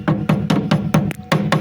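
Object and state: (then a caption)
Solidly reinforced car roof rail. A hammer taps eight times along the welded steel roof rail of a VAZ-2103, at a spot that has been strongly reinforced. Each tap is a dull, low-pitched knock that dies away almost at once, with no lingering ring, and the rail sounds solid.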